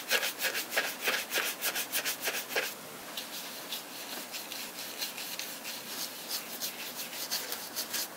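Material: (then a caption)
Leather. A small dauber brush with a round wooden handle is rubbed and brushed in circles over the toe and heel of a black smooth leather Thorogood Postman lace-up shoe, which has a hollow upper over a rubber sole and is held in the hand. Quick, bright, scratchy bristle strokes repeat at about three per second, louder and crisper for the first few seconds. They then settle into a softer, steady rubbing hiss with fainter strokes.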